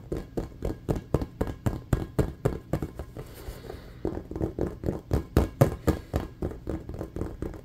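Fingernails tap fast and hard on a hollow, inflated red and black patterned rubber playground ball, a rubber basketball, producing about thirty dull, low, hollow thumps that die away almost instantly. Midway through, the tapping briefly gives way to a soft, hissy scratching of nails across the rubber before the quick, uneven rhythm of taps resumes.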